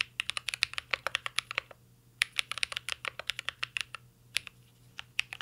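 Fingertips type continuously on a mint-green Cyberboard R3 mechanical keyboard with plastic keycaps and an aluminum case. About thirty short, bright, clicky keystrokes come in quick bursts with a brief pause near the two-second mark, each tap crisp and dry with almost no ring.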